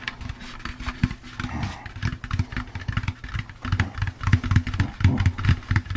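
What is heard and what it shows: An empty, hollow orange plastic jack-o'-lantern candy bucket is tapped on its sides with the fingertips. The result is a quick, irregular run of soft, hollow, low thumps with a boomy resonance, each dying away almost at once, growing somewhat louder toward the end.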